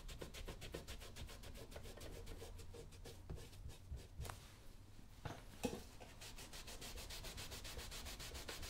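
Fingers wrapped in a yellow cloth rub and buff the surface of a brown smooth leather lace-up work boot worn on a foot, while the other hand steadies it. Quick, rhythmic, soft brushing strokes repeat steadily with a bright, airy texture over a low rumble. The strokes ease off briefly midway, where a couple of sharper taps stand out, before the fast buffing resumes.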